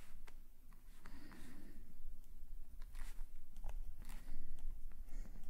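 A metal calligraphy nib scratches across an open black paper sketchbook page while drawing details in green ink. Short, dry scratching strokes come in quick bursts over a steady low background rumble.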